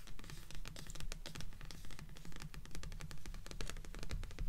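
Long nails tap and scratch continuously on the cardstock cover of a blue paperback book stacked with others on a table, forming a solid paper block. Quick, irregular, dull taps with soft low thumps mix with dry scratching, and each tap dies away almost instantly.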